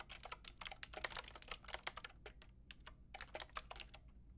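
Long painted nails and fingertips type on a white-pink backlit mechanical keyboard with round plastic keycaps. About 23 quick, bright, clicky key taps come in an uneven rhythm, each dying away at once, with a brief lull in the middle. The taps are quiet over a faint low hum.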